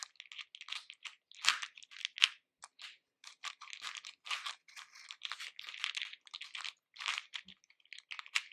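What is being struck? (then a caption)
Hard-shelled candy pieces in a plastic bowl. Fingers with grey painted nails rummage and stir through a pink plastic bowl full of capsule-shaped, hard-shelled red, orange and yellow candies. The result is a quiet, irregular stream of bright clicking and crunchy rattling bursts, with almost nothing low in the sound. The pieces clatter against each other and the bowl, and each burst dies away almost at once.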